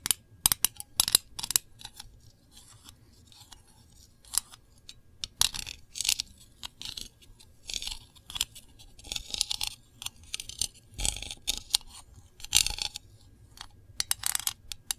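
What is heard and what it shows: Long nails tap and scratch the lid of a small, hollow, round printed metal Voluspa candle tin. The clip is a quiet run of sharp, bright clicks and thin scratchy rasps, mostly high with almost no low end. The taps come in scattered clusters with brief silences between them.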